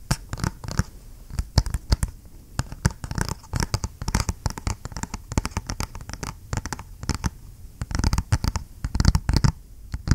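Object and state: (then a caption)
Cardboard box. A small, flat, hollow G.Skill DDR5 memory retail box of printed cardboard is held in one hand and tapped and scratched with the fingernails of the other. The result is a quick, irregular run of dry, sharp taps mixed with scraping scratches, each dying away almost at once.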